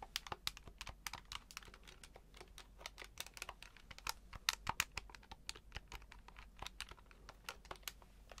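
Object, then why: Plastic desktop calculator keypad. A grey plastic desktop calculator with an LCD display is held in both hands while fingertips tap and press its keypad buttons continuously. Quick, dry, bright clicks come in an irregular stream with almost no ring, a few landing harder than the rest over a faint low background.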